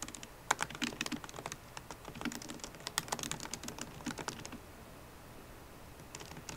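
A MacBook Pro keyboard with plastic keycaps in an aluminum body is typed on quickly with long nails and fingertips. Crisp, bright clicking taps come in fast, uneven bursts, go quiet for a little over a second near the end, then return with a few lighter taps.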